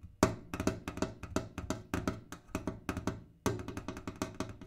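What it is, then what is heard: Kerosene can. A kerosene can is tapped in a quick, uneven series of about two dozen short, dry, hollow knocks with a low, woody body pitched around 300 Hz. Each tap dies away fast; the loudest strikes open the run and restart it after a brief pause near the end.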